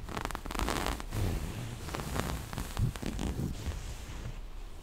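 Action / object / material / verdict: scrape / small cloth zipper pouch / fabric / none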